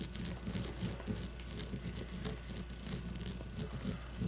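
Long nails scratch and tap a solid leather baseball with red stitching resting on a table. A steady run of soft, dull taps around 180 Hz mixes with bright, dry scratching and a constant low hum underneath. The taps die away almost at once, leaving a continuous, gentle scraping texture.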